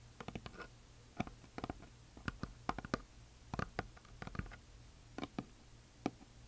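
Long nails tap and scratch a flat, solid, heart-shaped wooden plaque decorated with glitter paint. About twenty quiet, dry clicks land in irregular clusters, each dying away almost instantly. Soft scratchy textures and a steady low hum fill the gaps between them.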